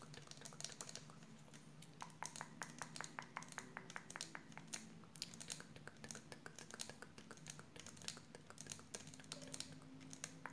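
Long nails tap and scratch around a round, clear plastic spray bottle with a red cap, partly full of water. A rapid run of short, sharp, bright clicks and ticks repeats over a faint, steady low hum, each tap dying away almost instantly.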